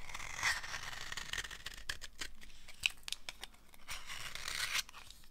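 A thin, dry, solid amber soap slab, held in hand, is scraped and cut with a utility knife blade. Bright, dry scratching and crisp crackly rasps come in quick repeated strokes, with a sharper snap near the middle. The tail ends in softer scraping.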